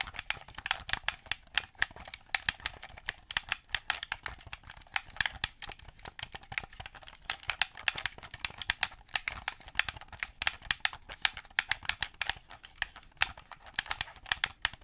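A black plastic Xbox-style gamepad, a hollow handheld device held close to the mic, has its surface and buttons tapped rapidly with long fingernails. The result is a dense stream of sharp, bright plastic clicks that die away instantly, with almost no low end.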